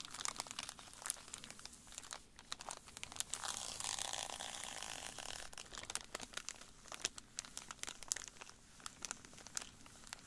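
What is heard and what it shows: Latex-gloved fingertips press, rub and crinkle a flat, full foil-and-plastic candy bar wrapper lying on a grey table. Bright, sharp crackles and crinkles come in quick bursts, with a denser, continuous rustling stretch near the middle of the clip. The sound is quiet, high and crisp, with almost no low end or ring after each crackle.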